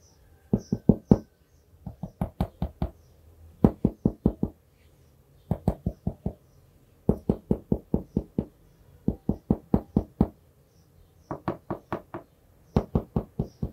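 A plastic marker cap knocks and taps on the printed "Take me to Paris" hardboard cover of an A5-size notebook held upright. Forty-two short, dry, hollow knocks come in quick bursts of about five or six, separated by brief pauses. Each knock stops almost instantly, with a low, woody body and no bright ring.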